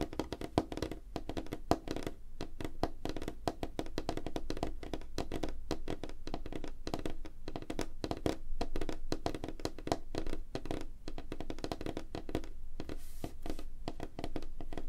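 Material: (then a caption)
Wood. Fingertips and short nails of both hands tap fast on a flat, solid, light-colored wooden tabletop. The result is a dense, steady stream of short, dry, hollow knocks centered around 316 Hz, each dying away almost instantly, with little bright content.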